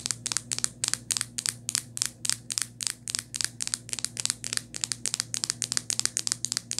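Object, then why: Hard plastic phone case. Long nails tap about 32 times on the back of a rose-gold hard plastic phone case with a ring holder. Each tap is a sharp, crisp, high-pitched click that stops instantly, coming in quick, uneven bursts over a faint steady low hum.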